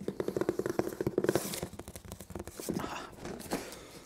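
Fingertips scratch and pick at the printed tape and surface of a hollow, medium brown corrugated cardboard shipping box held in one hand. A quick run of dry scratches rings with a hollow mid-pitched resonance, then gives way to softer, bright scraping and tearing sounds that fade out quietly.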